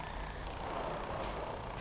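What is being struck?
Nothing is struck.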